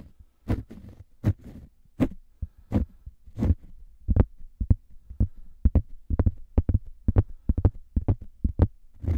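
Two identical thin, round cork coasters are scratched with fingernails and rubbed together close to the mic. Short, dull, bassy scratching bursts come in a steady series, slower at first and then quicker and sharper in the second half. Each burst stops dead with no ring.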